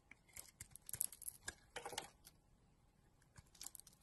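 A solid pink and blue bar of soap, held in a hand with long dark nails, is shaved with a utility knife blade. Quick, crisp scraping and cutting strokes come in bursts, dry, bright and quiet, with a denser shaving run in the middle and a short pause before a few final scrapes.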